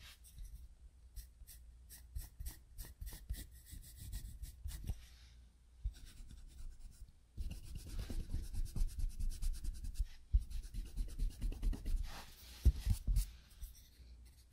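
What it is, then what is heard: Pencil shading on a sketchbook page. A wooden pencil held in the fingers makes scratching shading strokes on a spiral-bound paper sketchbook page. Quick, separate strokes come first, then a short pause, and then a denser, more continuous run of soft, bright, papery scratching. The sound stays quiet and close throughout.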